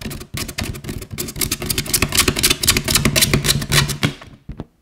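An inflated yellow latex balloon, hollow and air-filled and held at its right side, is tapped and scratched with long nails. Quick, uneven taps mix with bright scratching over a low, hollow thump, then the sound fades out with one last soft tap.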